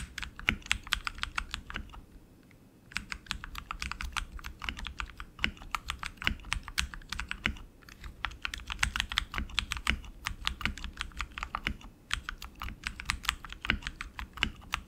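Both hands type continuously with their fingertips on a tenkeyless RGB mechanical keyboard with tactile switches and plastic keycaps on an aluminum frame. Rapid, bright, short clacks with a faint low thud stream steadily, broken by brief pauses near 2, 8 and 12 seconds.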